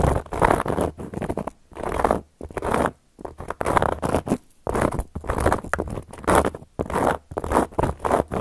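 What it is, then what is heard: Cork coaster scratched with nails. Long gold metal claw nails scratch and trace across a solid, round, flat cork coaster in repeated short, dry strokes. Each scrape is a brief papery rasp centred in the mids, with quick starts and stops separated by silent gaps and almost no ring.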